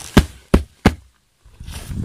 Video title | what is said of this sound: FORÊT HANTÉE DE BROCELIANDE -spécial Halloween- episode 1 | le sol sonne creux. Je ne sais pas si vous l'entendez. Ça sonne creux.